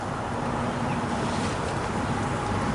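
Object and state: Nothing is struck.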